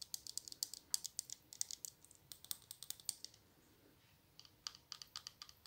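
Long blue fingernails tap and scratch the glass sides and black spray cap of a small square clear glass perfume bottle filled with pink liquid. The result is quiet, rapid, bright, dry clicks with almost no ring. The tapping pauses for about a second before resuming in another quick burst.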